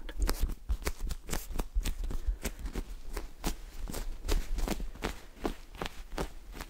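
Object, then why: Polyurethane foam squishy toy. Fingertips tap, scratch and squeeze a small, soft, solid polyurethane foam squishy s'more toy with orange cracker layers and a white marshmallow middle, held close to the mic. A quick, steady series of soft, dull taps mixes with brief crisp scratching ticks over a low, muffled rumble.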